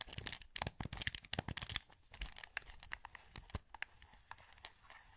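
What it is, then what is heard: Plastic game controller, buttons and sticks clicked. Thumbs press the buttons and analog sticks of a hollow, translucent green plastic PS2 wireless controller held in both hands. Rapid, crisp plastic clicks and taps with a bright edge come in a dense burst at first, then thin out into softer, scattered clicks.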